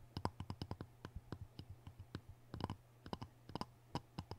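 Fingertips and nails tap and scratch the surface of a rectangular, solid King whetstone lying on cardboard, wet from use, while a closed orange folding knife rests untouched beside it. About twenty short, dry clicks and scratches sound in an irregular rhythm over a steady low hum.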